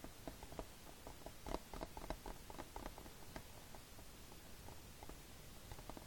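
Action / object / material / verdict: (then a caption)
tap / plastic DVD case / plastic / none. Fingertips tap and scratch the glossy cover of a hollow plastic Fullmetal Alchemist DVD case lying flat, before the hand leaves at the end. Quick, irregular, soft hollow clicks patter at a mid pitch with short scratchy swishes, over a faint low background rumble.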